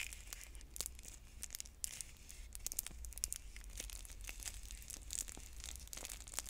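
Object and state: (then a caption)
Plastic shrink wrap on a bead container. Long nails pick at and crinkle the plastic shrink-wrap on a clear plastic stacking bead container with a paper label, held in both hands. The crinkling is a steady run of bright, sharp crackles and ticks that stop almost instantly, over a faint low hum.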